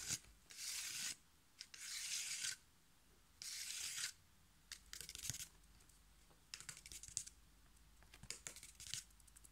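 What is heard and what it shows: A thin, flat piece of brown corrugated cardboard, held in one hand, is tapped and scratched quickly with fingertips and nails. Bursts of bright, papery scratching hiss alternate with quieter stretches of rapid, crisp taps. All the sound sits in the high range, with almost no low end.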